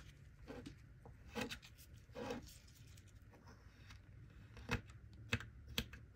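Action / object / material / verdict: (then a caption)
scrape / block of kinetic sand / kinetic sand / none. A gloved hand repeatedly cuts and scrapes a small solid mound of golden kinetic sand with a small plastic knife, breaking pieces off the block. Soft, grainy scraping swells alternate with a few sharper, bright crunching snaps as the pieces give way, over a low steady hum.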